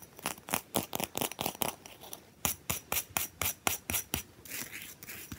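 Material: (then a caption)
Ice. Long fingernails scratch and rub a round, solid, frosted, plate-sized disc of ice with heart-shaped ice cubes frozen into it, standing on a towel. A quick, uneven run of short, bright, raspy scrape strokes fills the first four seconds, then gives way to a softer, continuous hissing rub at the end.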